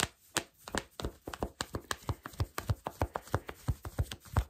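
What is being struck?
Cotton fleece sweatpants.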